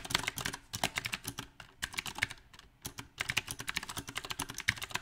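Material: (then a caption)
Plastic. Both hands type with their fingertips on a compact, backlit mechanical keyboard fitted with round plastic typewriter-style keycaps. Dozens of sharp, bright clicks come in an uneven rhythm, with brief pauses between bursts. Each keystroke dies away almost instantly.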